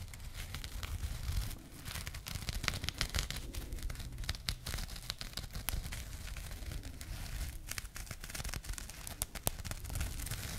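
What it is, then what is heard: Burlap jute pouch. A small burlap jute pouch, partly folded, is held close to the microphone and scratched with long nails. The result is a steady, dry, rough scratching and crinkling texture with bright crackle, frequent sharp clicks and a low handling rumble underneath, briefly dipping quieter around the middle before continuing.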